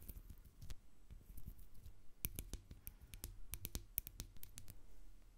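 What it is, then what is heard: Textured glass jar tapped with nails. Long acrylic nails tap and scratch the bumpy surface of a medium, hollow, hobnail-textured glass jar full of white bath salt with a plastic spoon inside. The result is a quiet, irregular series of sharp, very short clicks with bright tops over a soft, low scratching rumble.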